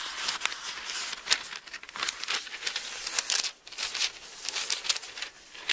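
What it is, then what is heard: Thin Bible paper pages rustling. A hand sweeps and rubs across the thin paper pages of an open Bible while turning them. The result is a bright, papery rustle with quick crinkling bursts that rise and fall over several seconds, with almost no low end.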